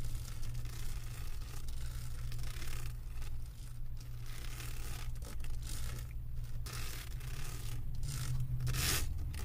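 Long acrylic nails scratch across the resin drill surface of a flat diamond painting on a canvas board, making a steady, dry, tearing-like scrape over about nine seconds. A constant low hum sits underneath, and a brief brighter burst of scratching rises near the end.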